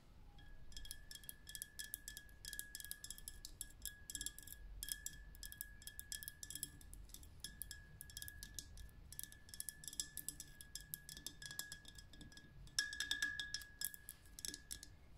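Long red nails tap rapidly on the glass side of a green and pink glitter lamp, a glass vessel full of liquid and glitter. Each tap is a quick, bright click, over a thin, steady glassy ring near 1.7 kHz that carries through the whole run of taps.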